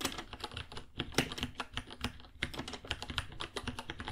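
Fingertips type on a white 66-key mechanical keyboard, about 30 cm, with plastic keycaps, a hollow case and Gateron Brown switches. A steady run of sharp, clacky keystrokes rattles out with short bright clicks over a hollow low thud. Each one dies away almost at once.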